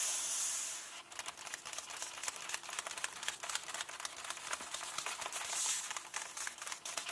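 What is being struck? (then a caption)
Glossy paper book pages. Fingertips and long nails tap quickly on the glossy paper of an open hardcover book, across an illustrated glossy page and a text page. The result is a fast, uneven stream of dry, bright clicks and light papery crackles over a soft hiss. Short bursts of airy, high noise rise at the start and again near the end.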